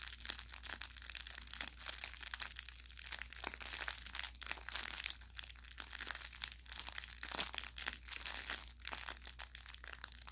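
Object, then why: Plush fabric toy with crinkly plastic filling. A hand grips and squeezes the upper body of an orange velour plush carrot toy with crinkle filling, crinkling the inside. A dense, bright crackling and rustling goes on throughout, with sharper pops and crunches along the way, over a faint steady low hum.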